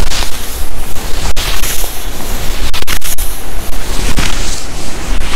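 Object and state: Nylon puffer jacket being scratched.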